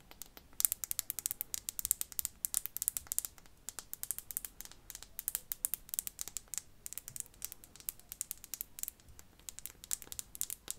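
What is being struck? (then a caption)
Glass perfume bottle. Fingernails tap rapidly and continuously on a perfume bottle, likely glass. The taps are quiet, crisp, high-pitched clicks with almost no ring, forming a dense, irregular ticking pattern throughout.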